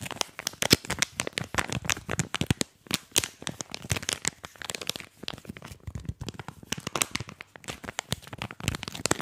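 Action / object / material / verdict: scrape / plastic snack packet / plastic / none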